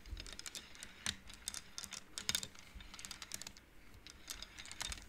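Hands slide and flick painted wooden beads along the rods of an upright wooden-frame abacus. The beads clack in rapid, bright, dry clicks with almost no ring, some louder than others, over a faint low rumble.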